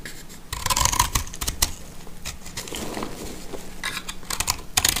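A box-cutter blade cuts and scrapes into a hand-held, hand-sized, roughly heart-shaped block of dry recycled confetti soap made of pressed multicolor scraps. Bright, crisp scratching and crunching strokes come in bursts over a low rumble. Dry crumbly pieces fall away.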